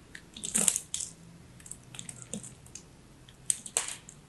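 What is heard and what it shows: A craft knife carves a solid, dry, crumbly teal soap chunk shaped like a ball, held in the fingers. The blade makes a series of short, bright, crisp crunches and scrapes with little low end. The strongest bursts come near the start and toward the end.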